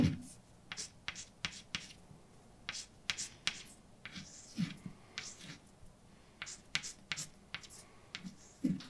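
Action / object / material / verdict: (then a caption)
scrape / chalk on a slate or painted blackboard / chalk / none. A hand writes letters on a large, dark chalkboard with a flat, solid surface using white chalk. About twenty quick, bright taps and short scrapes sound as the chalk strikes and drags across the board, with some soft low thumps. The strokes come in short clusters separated by quiet gaps.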